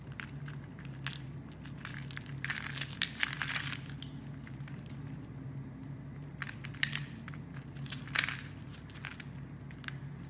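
A blade scrapes and carves crumbly shavings off the edge of a solid, hand-sized green bar of soap held by fingers with red nails. Crisp, bright crunching and crackling come in irregular bursts, strongest around the third and eighth seconds, over a steady low hum.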